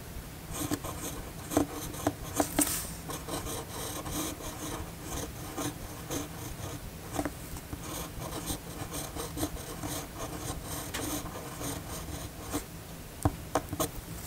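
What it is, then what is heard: Pen nib scratching on paper. The steel nib of a red fountain pen writes cursive on a flat white paper sheet, giving a steady dry scratching and rubbing with a faint low hum beneath. Occasional sharper ticks stand out as the nib strokes across the paper.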